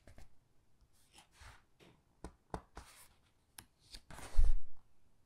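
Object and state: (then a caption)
Paper hardcover book pages. Fingertips with long, dark-painted nails grip, squeeze and flip the thick glossy paper pages of a large hardcover Titanic book lying open. Soft, bright papery rustles and brushing swishes come in short, separate bursts with quiet gaps between them. The loudest, fullest sweep of a page turn arrives near the end.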